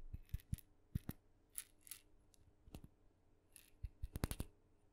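A small, hollow, painted wooden mini maraca, red with blue dots, is held in the hand and tapped with long nails. It gives quick, irregular dry taps, each a soft low knock with a bright clicky edge that dies away almost at once, with brief rustly swishes between some taps.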